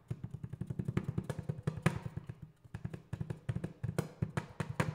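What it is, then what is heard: Metal paint cans. Metal paint cans are tapped in quick, steady runs, each tap a short, hollow, low thud that dies away almost at once. The tapping pauses briefly midway, then picks up again with a few brighter, sharper knocks.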